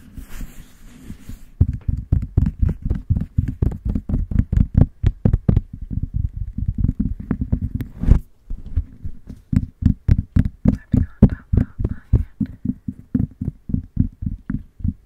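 Long nails and fingertips tap and scratch on top of the bare, hollow metal mesh grille of a white condenser microphone, with hands cupped over the head throughout. A brief hissy scratching opens the clip, followed by a fast, steady stream of dozens of deep, muffled thumping taps. A short scrape briefly interrupts the run before the tapping resumes.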